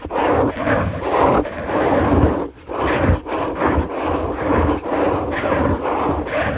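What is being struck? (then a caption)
Fabric bed sheet. Both hands with long nails scratch a white fabric sheet on a bed. The result is a continuous, dull rasping made of overlapping strokes at roughly one per second, uneven in rhythm, with brief pauses near the middle. The sound is mostly mid and low, with little bright content.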